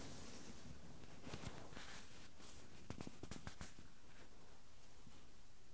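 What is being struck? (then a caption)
Metal mesh microphone grille. Fingertips rub and tap directly on the small metal mesh microphone capsule grilles of a Tascam handheld recorder. A low, muffled rumble and soft scratchy rustling run throughout, broken by a few sharp clicks in the middle.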